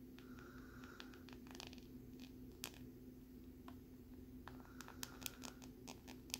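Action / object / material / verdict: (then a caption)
scrape / thin plastic lenticular card scratched with a metal needle / plastic / none. A metal needle scratches across the ridged surface of a thin, flat plastic lenticular card with a butterfly print. Quiet, bright, scratchy ticks and short rasps come in irregular bursts over a steady low hum. A few sharper clicks stand out near the end.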